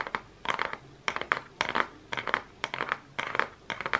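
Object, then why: Cardboard makeup palette box. Fingernails tap and scratch the front of a Focallure makeup palette's holographic cardboard case, held up close. Quick bursts of dry, crisp clicks and scrapes repeat in clusters, bright in the mid-high range, with almost no low end and no ring after each tap.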